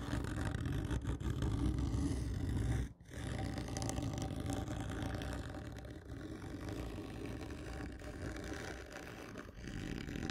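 Long fingernails scratch a large, hollow, black printed cardboard whisky gift tube lying horizontally, producing a steady, low, rumbling scrape with a brief pause near three seconds. The scratching continues at a slightly lower level until one hand leaves the frame at the end.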